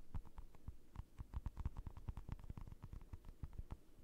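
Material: Acrylic.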